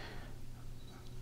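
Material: Nothing is struck.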